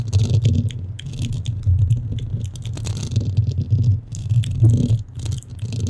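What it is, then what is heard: Foam microphone windscreen. Long nails on both hands scratch a black, porous foam microphone windscreen. The result is a dense, continuous low rumbling scrape with a steady hum-like pitch near 113 Hz, dotted with faint, brighter crackles and rising and falling in loudness throughout.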